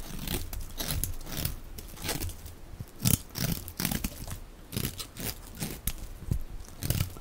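A box-cutter blade scrapes and shaves a solid, dry, rectangular light-blue bar of soap held in the hand, peeling it into fluffy shavings. Repeated short, crisp crunching strokes rise over a low, muffled rumble, each with a bright scraping edge and very little ring.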